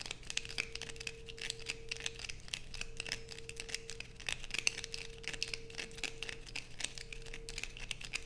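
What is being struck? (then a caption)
Bar of soap. A solid blue bar of soap held in the hands is scratched rapidly with long pointed nails. Quick, dry, crackling scrapes pile up densely and sound bright and brittle, like crumpling or tearing, each ending almost instantly. A faint steady tonal hum runs underneath.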